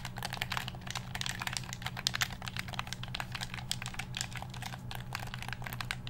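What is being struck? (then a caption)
Plastic game controller. Fingertips press the buttons and tap the shell of a black hollow plastic game controller held near the microphone, making a rapid, uneven stream of short, sharp, bright plastic clicks and taps over about six seconds. Each click dies away almost instantly, over a steady low hum underneath.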